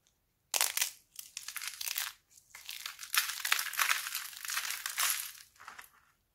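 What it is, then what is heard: Dried laundry soap plates being crumbled. Fingertips and both hands snap and crumble thin, brittle, solid red sheets of dried laundry soap into flakes on a white table. Dry, bright crunching and crackling come in several dense bursts separated by brief pauses, with no low end. The sheets break apart into flakes.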